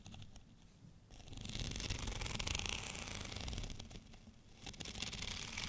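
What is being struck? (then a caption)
Studded plastic rolling pin. Fingernails scratch along the bumpy cylinder of a white studded plastic rolling pin held at both ends. After a quiet start, a dense, rapid, bright rasping rises and holds over a low rumble, dips briefly, then returns just as strongly near the end.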